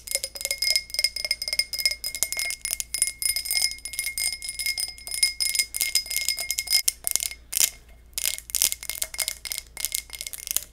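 Fingernails tap and scratch a textured low-ball glass tumbler in a rapid, steady run of bright clinks and scraping ticks. The sound is almost entirely high-pitched, with faint ringing tones that die away quickly after each touch.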